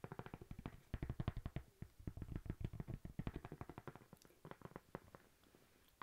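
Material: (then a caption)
Cork. Long nails tap and scratch a thin, flat, toast-shaped solid cork coaster held close. The result is dozens of rapid, dull, low-heavy taps in an uneven rhythm, each dying out almost instantly. The tapping softens and thins out toward the end, where a brief bright scratch is heard.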